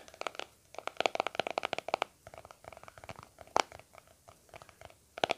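Fingertips and short nails tap and scratch the flat lid of a small round white plastic cream tub with a blue aloe vera label, held in both hands. Quick, dry clicks land in clusters with bright upper edges, and the taps stop almost instantly with no ring. A soft scratching texture runs between them, and a few sharper, louder clicks stand out.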